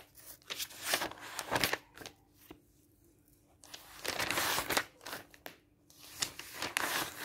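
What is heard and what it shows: A hand rubs the pages of an open, thin paper product catalog lying on a table with flat fingers and turns them. Bright, dry paper rustles and crinkles come in bursts separated by brief quiet pauses, with little low-end weight.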